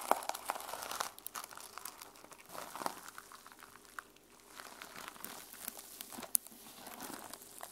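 Long nails scratch across the teal and silver plastic sequin cover of a closed notebook, making a quiet, dry crinkling and rasping sound. Bright, scratchy bursts come and go in waves, with a few sharp clicks standing out above the soft texture.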